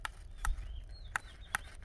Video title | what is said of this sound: หงเป่าสือดกไม๊ | นี้เป๊กๆยังไม่โอเคค่ะ